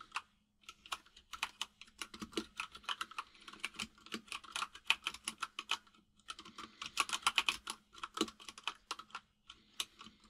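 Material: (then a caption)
Plastic. Fingertips of both hands type fast on a full-size mechanical keyboard with white and grey plastic keycaps. Quick, bright, sharp clacks come in dense bursts that die away almost instantly, with brief pauses near the start and around the six-second mark. A faint, steady low tone sits underneath throughout.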